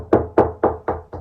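Five taps along a dot-and-dab plasterboard wall fixed to concrete block, at a section where the board sits on a dollop of adhesive. Each gives a short, dull knock centred around the midrange that fades quickly, confirming the wall sounds solid at that spot.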